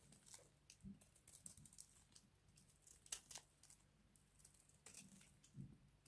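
A hand-sized, cream-colored solid bar of dry soap is held in one hand and scraped with a small box-cutter blade, shaving off crunchy flakes. Quiet, irregular crisp scrapes and crackles with bright, hissy edges are heard, along with a low background hum.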